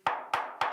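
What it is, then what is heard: Hollow-sounding loose rock in a mine gallery. Three sharp taps on a loose piece of rock in a salt mine gallery wall, each a bright, hollow knock centred near 840 Hz that rings briefly before the next. The rock sounds very hollow compared with another, a sign that it risks falling, which is why galleries are tapped section by section during securing work.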